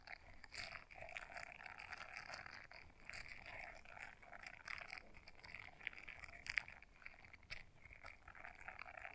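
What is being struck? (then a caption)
Silicone scrubber brush. Long nails quickly scratch the bristles of a small blue silicone scrubber brush folded in half. The result is a quiet, continuous, dry crackling scratch, concentrated in the upper mids and bright highs, with little low end and occasional sharper ticks.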